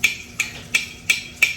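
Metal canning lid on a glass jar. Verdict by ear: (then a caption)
Sealed. The back of a spoon taps five times on the metal lid of a sealed jar of home-canned salsa. Each tap is short and bright, with a tone near 2.4 kHz that dies away within about a tenth of a second. This is the dull, dead sound of a properly sealed lid.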